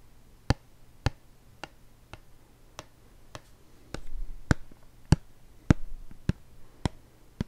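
A hollow white plastic shampoo bottle with a blue cap is tapped and rubbed with fingertips and nails. Thirteen short, dry clicks land at a slow, uneven pace, each with almost no ring. Soft rubbing fills the gaps midway through.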